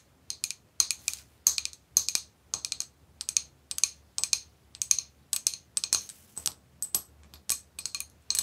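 Long pink nails tap and scratch the glass of an empty, medium-sized, clear etched glass bowl held upside down. Quick, bright, dry clicks come in steady clustered bursts, each dying away almost instantly, with no low ring.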